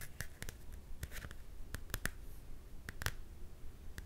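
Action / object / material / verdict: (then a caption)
tap / glossy card book cover / card / none. Long dark-painted nails tap and scratch the glossy card cover of a Frozen coloring book held upright in both hands. Sharp, dry clicks with a bright edge come at an uneven pace over a low, steady rumble, with softer scratching between them. Each tap dies away almost instantly in a quiet, close-sounding space.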